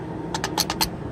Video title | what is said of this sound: February 24, 2018 | you can hear when you shake it, yes, that is the starter. That means it's pretty loose